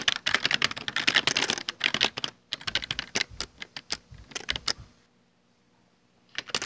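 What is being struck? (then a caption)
Plastic computer keyboard. Bare fingertips type rapidly across a full-size black plastic Dell desktop keyboard with hollow keycaps, making bright, clicky keystrokes. A dense burst of typing thins into sparser taps, stops for about a second of near silence, then picks up again briefly at the end.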